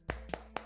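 Three short, dry knocks on the polycarbonate plastic back panel of a Realme 7 Pro smartphone. Each knock is a brief tap with almost no ring. The panel sounds dense and solidly stuck to the phone body, different from the Poco X3.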